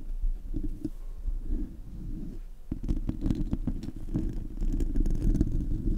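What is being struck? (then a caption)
Metal mesh microphone grille scratched with fingernails. Fingernails scratch and rub across the bare, hollow metal mesh grille of a silver Blue Yeti USB microphone. The result is a dense, low, rumbling scrape with faint bright ticks, easing briefly midway before resuming stronger.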